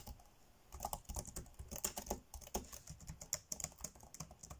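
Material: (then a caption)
Plastic. Fingertips tap fast on the dark grey plastic chiclet keys of a laptop keyboard, typing. A quick, uneven run of about two dozen short, dry clicks sounds, each bright and crisp with a soft low thump and almost no ring.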